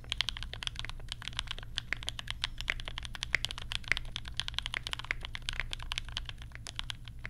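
Fingertips of both hands type rapidly on a compact 60% mechanical keyboard with Banana Splits switches, pastel plastic keycaps and a lavender case. A dense, steady stream of short, dry plastic clacks is heard, each bright and centered near 2 kHz with almost no ring. A constant low hum sits underneath.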